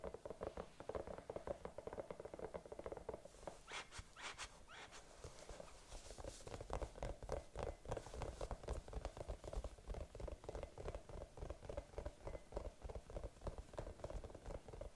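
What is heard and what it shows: A palm-sized, hollow, colour-changing bunny-shaped night lamp with a cable, likely soft silicone, is held in both hands and tapped and scratched with long dark-painted nails. The result is a dense run of soft, dull, low taps with very short decay, broken by brief brighter scratching bursts a few seconds in.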